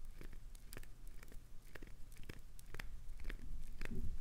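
Long acrylic nails scrape and gouge the surface of a solid translucent green glycerin soap bar held in a palm. Short, crisp, irregular scratchy clicks and tearing crunches ring out over a low, soft rumble, growing slightly louder toward the end.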